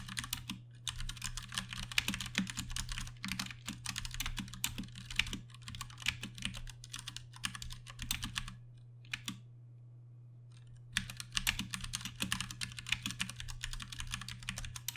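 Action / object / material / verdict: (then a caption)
tap / plastic mechanical keyboard with tactile switches / plastic / none. Fast two-handed fingertip typing on a compact 60% Ducky One 2 Mini mechanical keyboard with plastic keycaps and Cherry MX Brown switches gives dense, bright, short clacks over a steady low hum. The typing stops for about two seconds near the middle, leaving only the hum, then resumes.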